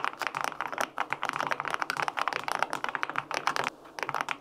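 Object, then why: Aluminum mechanical keyboard with plastic keycaps. Fingertips type steadily on the plastic keycaps of a white-pink, full-aluminum 65% mechanical keyboard with linear switches. Quick, short clacks come in a continuous run with a midrange, slightly bright tone and almost no low end. Each keystroke dies away almost at once.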